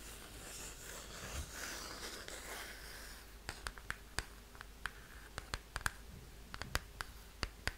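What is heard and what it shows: Long painted fingernails scratch across the surface of a large, flat, green 12-inch cardboard Keane *Hopes and Fears* LP sleeve held up in the air, making a steady, bright, papery rasp for about three seconds. The nails then switch to tapping the cardboard, giving a string of short, dry, sharply separated clicks that die away almost instantly.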